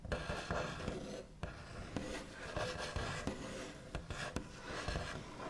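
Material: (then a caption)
Wood. The backs of fingernails rub, scratch and trace across a large, flat, solid wooden tabletop with a smooth white finish. A steady, dry scratching texture carries on throughout, broken by sharp taps and clicks.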